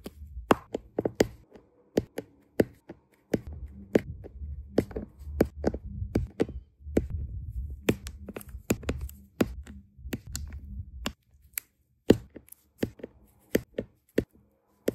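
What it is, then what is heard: Diamond painting drills tapped onto canvas. A plastic drill pen with a metal tip presses small, solid, round resin diamond-painting drills one by one onto a flat adhesive canvas, tapping each into place. About 36 short, sharp, bright clicks follow in an uneven rhythm, with a soft low rumble underneath through the middle of the clip.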